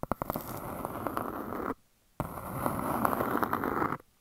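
Long dark nails tap and scratch a large, flat, round grey speckled disc that looks like granite-look stone and is solid. A few sharp taps open into a steady, crackly scratching that stops for a short pause, then a second stretch of dense scratching with scattered clicks runs until it cuts off.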